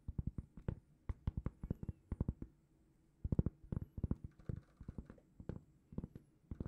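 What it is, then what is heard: Cork trivet tapped with fingernails. A large, flat, solid round cork trivet is held in both hands and rapidly tapped and scratched with long painted fingernails. Around thirty quick, dull, low taps come in clustered bursts, with a brief pause near the middle. The taps are soft and muffled with almost no ring.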